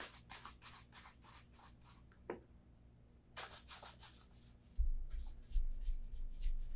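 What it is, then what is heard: Leather dress shoe being brushed. A brown leather Vass Austerity Brogue oxford shoe is held in hand and turned while a bristle shoe brush sweeps over the upper and welt. Quick, bright, airy brushing and rubbing strokes come in bursts, with a short pause in the middle. A low rumble joins in near the end.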